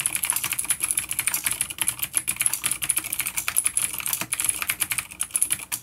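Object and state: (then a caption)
Vintage clicky mechanical keyboard. Fingertips of both hands type on a full-size dark plastic vintage mechanical keyboard with clicky blue switches and grey keycaps, resting on a wooden desk. The rapid, steady stream of sharp, bright clicks and clacks is thin in the lows. Each keystroke snaps off almost instantly.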